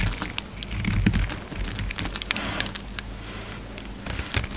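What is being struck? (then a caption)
Bar of soap. A hand-held solid orange soap bar with remnants of a green coating is shaved and scraped with a utility knife blade. The clip is filled with dense, crisp scraping and crackling ticks with bright, brittle edges over a steady low hum. Occasional louder scrapes stand out as the blade bites into the soap.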